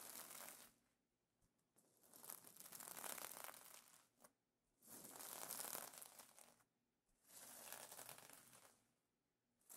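Fingers with painted nails scratch and rub the iridescent plastic sequins of a sequin pillow cover. The result is bright, crinkly, scratchy rustling in long swells separated by short quiet gaps.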